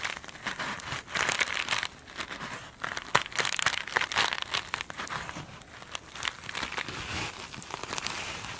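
Long nails scratch and tap a glitter mesh-covered foam sponge, first held in the hand and then lying on a table. The result is dense, bright, crinkly scratching in uneven bursts, with sharp little taps and very little low end.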